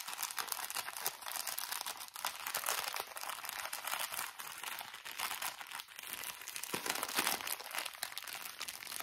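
A small soft plastic bag of cotton pads with a purple label and drawstring is squeezed, crinkled and scratched with fingernails. Dense, bright crinkling and scratching rustle continues steadily for about nine seconds.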